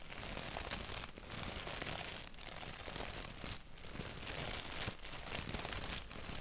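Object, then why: Thin paper napkin. A thin white paper napkin with a black doodle print, held by its edges, is rubbed and crinkled between the fingertips. A dense, steady crackling rustle with a bright, hissy top runs throughout, easing briefly in a few short dips before picking up again.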